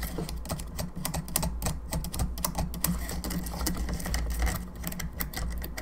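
Long nails tap and scratch the bone arms and the top of the cranium of a hollow plastic skull candelabra lamp. The result is a rapid, dense run of short, dry clicks and scrapes with bright edges and almost no ring, over a steady low hum.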